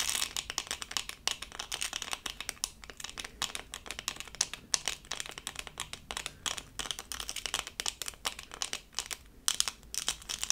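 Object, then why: Plastic rhinestone sticker. Long purple acrylic nails tap and scratch a small, thin, solid, flat doll-shaped diamond-painting sticker covered in tiny plastic acrylic rhinestones, held up in both hands. Rapid, crisp, bright clicks and scratchy crinkling rattle in quick, irregular bursts, each dying away almost instantly with nearly no low end.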